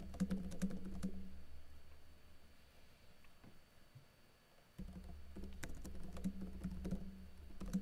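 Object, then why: Plastic laptop keyboard keys. Fingertips with blue-painted nails type continuously on a laptop keyboard with plastic keycaps and a teal backlight, making quick, irregular key taps. A steady low hum around 200 Hz sits under the clicks and drops out near the middle, where the typing thins to a few soft taps. Both the hum and the typing then return.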